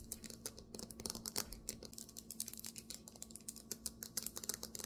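Fingernails tap quickly on a marble table top. Dense, irregular, bright clicky taps follow one another with almost no ring, over a faint steady low hum.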